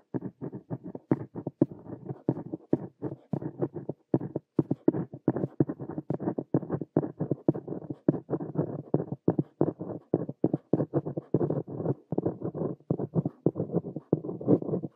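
A plastic ballpoint pen tip held in the fingers scratches across a lined paper notebook page lying flat while writing English sentences. Dense, rapid bursts of dry scratching stroke on and off without pause, sitting mostly in the low-mid range with little high brightness. Each short stroke cuts off with almost no ring.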